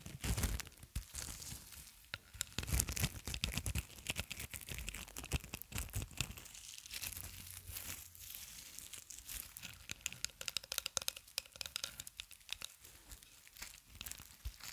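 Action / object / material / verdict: scrape / plastic cling film roll / plastic film / none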